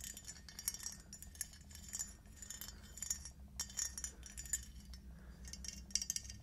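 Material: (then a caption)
Glazed ceramic. A small, glossy, red-black speckled glazed ceramic T-rex figurine is tapped with long acrylic nails. The result is a quiet, rapid series of bright, glassy clicks and clinks that die away almost instantly, over a faint, steady low hum.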